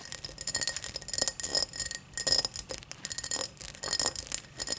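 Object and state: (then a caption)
Tall drinking glass being tapped. A tall drinking glass is tapped and scratched in quick, uneven bursts, producing bright, high clinks and scratchy rustles. Each clink dies away almost at once, with no low resonance beneath.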